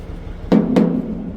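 Rubber truck-trailer tires are knocked to check whether any have lost air after the truck sat parked for two days. Two dull, low thumps land about a quarter second apart, each with a short resonant hum near 215 Hz that dies away quickly.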